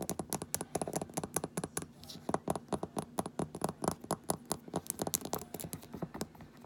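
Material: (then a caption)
Glass. A small amber glass rosehip oil bottle with a paper label and a black plastic dropper cap is held, then laid on its side on a table, while long nails rapidly tap and scratch its cap, glass and label. About 36 quick, dry clicks come in a fast, uneven rhythm with short scraping between them, each decaying almost instantly with a bright high edge.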